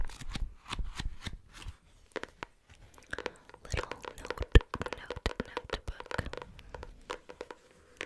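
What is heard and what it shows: A medium pink hardcover notebook with a solid cardboard cover is tapped and scratched with long nails fitted with metal paper clips. Quick bursts of sharp clicking taps mix with scratchy rustling, with a few louder taps near the middle, against quiet pauses. The sound is soft overall and weighted toward a dull low thud.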